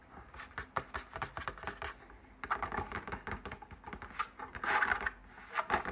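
Fingers tap and scratch the outside of a large, hollow fabric drum shade on a lit floor lamp, working over it from above. The result is a fast, uneven flurry of dry, papery taps and scratchy rubs, centred in the midrange, with little low end and almost no ring after each hit. The sound comes in bursts that grow busier and louder toward the end.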